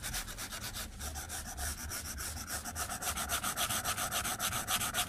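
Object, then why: Plastic stylus on glass tablet screen. A white plastic stylus tip scratches rapidly back and forth across the flat glass screen of a tablet. The strokes come in a steady, quick rhythm of dry, bright, hissy scrapes with a faint tonal edge near 1.3 kHz. They grow slightly louder and more distinct in the second half.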